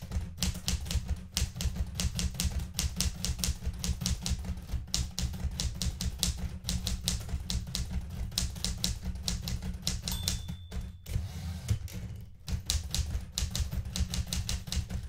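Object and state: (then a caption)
Manual typewriter typing. Fingertips with painted nails type steadily on the plastic keys of a blue metal manual typewriter, producing a fast run of sharp, bright clacks over a constant low rumble. The typing thins out briefly for a short stretch before resuming at the same steady pace.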